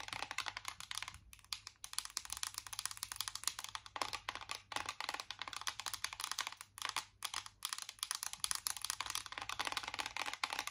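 A flat, hollow, embossed metal tin chocolate-bar eyeshadow palette, held in both hands, is tapped quickly with long acrylic nails on its raised squares. The result is a dense, continuous stream of crisp, bright, clicky taps with almost no ring or low end, broken only by a few brief pauses.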